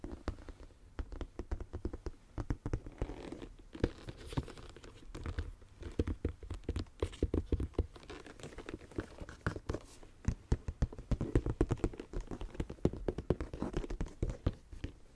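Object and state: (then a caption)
Leather handbag. A medium tan leather shoulder bag with a flap, held up close, has its flat leather surface tapped and scratched with fingertips and nails. The result is a steady run of quick, dry, low-toned taps with soft scratching and crinkly rustles in between, each tap dying away almost at once.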